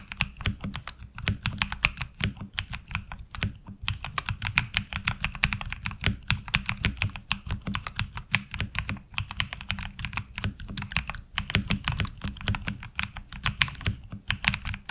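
Fingertips of both hands type steadily on a HyperX Alloy Origins Core, a tenkeyless mechanical keyboard with ABS keycaps. It makes a fast, continuous stream of short, crisp clacks that pair a bright top with a low thud and die away almost at once, with only brief pauses between bursts of keystrokes.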